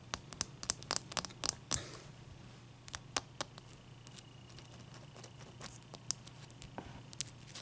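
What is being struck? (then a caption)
Ice cube scratched and tapped with fingernails. Long dark-painted nails rub and scratch a large, clear, solid ice cube resting on a towel. Quick, bright clicks and scratchy ticks come in irregular bursts, densest in the first two seconds, then thin out over a faint, steady low hum.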